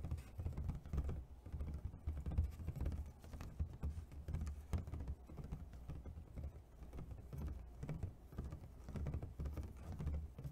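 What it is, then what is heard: Clear plastic clamshell food container. A medium, rectangular, clear, thin plastic takeout clamshell with embossed ridges, hollow and apparently empty, is held up and tapped rapidly with fingertips and medium nails. The result is a continuous patter of quick, soft, dull taps dominated by low, hollow thumps with almost no bright content, each tap dying away almost instantly.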